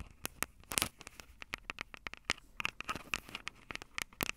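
Long acrylic nails tap and scratch the metal mic grilles over the capsules of a Tascam DR-05 handheld audio recorder with a plastic body. The result is a quick, irregular run of sharp, dry clicks and scratchy ticks, bright and crisp with a tone near 2.8 kHz, each dying away almost at once over a quiet background.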